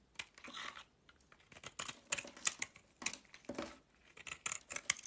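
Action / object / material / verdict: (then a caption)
scrape / bar of soap / soap / none. A box-cutter blade scrapes along the edge of a solid green bar of soap held in the hand. The result is a quiet series of dry, crisp scraping and shaving sounds, high and bright, that come in uneven bursts.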